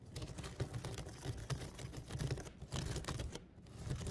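A woven basket is tapped and scratched close to the microphone, giving a dense run of soft, dry clicks and brushing scrapes with a low thumpy body. Brief bright ticks flicker over a steady low rustle, the level rising and dipping slightly across the clip.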